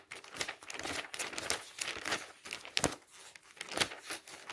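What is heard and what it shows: Fingertips quickly flip the glossy pages of an open glossy paper travel catalog resting on a stack. The result is a run of irregular, bright rustling and crinkling bursts with sharp, papery snaps and very little low end.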